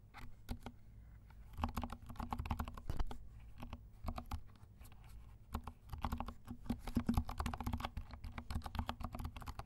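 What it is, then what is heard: Plastic mechanical keyboard. Fingertips of both hands type on a compact black mechanical keyboard with black and pink plastic keycaps, producing a steady stream of soft, muted clicks and taps. The keystrokes come in dense bursts with brief pauses, each tap short and quickly damped over a low hum.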